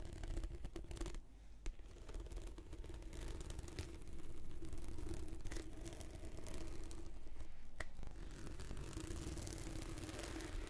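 Long red-painted nails slowly scratch along the surface of a translucent, textured PVC anti-slip mat rolled into a long hollow tube. The result is a continuous low, rough rasping texture with a faint steady hum around 300 Hz and occasional sharper clicks.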